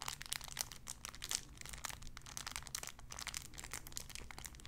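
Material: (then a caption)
Cellophane. A clear cellophane wrapper around a small sun-shaped figure is crinkled with fingertips and nails. It gives a dense run of bright, crackly crinkles with short sharp snaps, over a faint, steady low hum.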